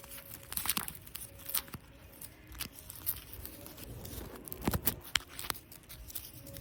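Plastic artificial grass used as decoration in a cafe is scratched and rubbed, giving bursts of crunchy, crinkly tearing sounds. The bright scratches come in uneven clusters over a faint low background hum.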